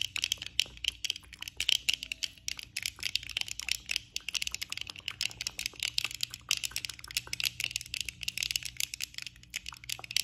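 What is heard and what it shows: Long nails tap the frame and lenses of worn black plastic eyeglasses with both hands, producing rapid, continuous bright clicks and ticks. The taps are sharp and dry with almost no ring, over a faint steady low hum.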